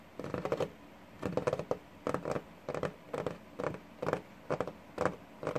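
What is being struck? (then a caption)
Wooden desk top. Fingertips and short nails of both hands tap and scratch the worn, paint-flecked varnished top of a large solid wooden desk. Short bursts of quick, dry taps and scratches repeat about once a second, each dying away almost at once, with a mid-range knock around 535 Hz over faint background hiss.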